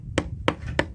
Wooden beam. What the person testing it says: up here that sounds solid